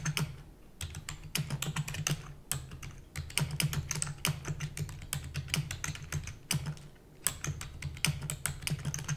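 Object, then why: Plastic computer keyboard. Rapid typing on a full-size black plastic keyboard with hollow keys, tapped with long natural nails and fingertips. Dense bursts of sharp, bright clicks come in runs with a few brief pauses, over a steady low hum.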